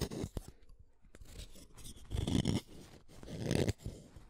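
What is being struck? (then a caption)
Wooden colored pencil. A utility knife blade shaves an orange wooden colored pencil, small and solid, in a series of scraping strokes. Each stroke gives a dry, crunchy rasp that is heavy in the low range, with a couple of louder, longer shaving passes separated by quieter stretches.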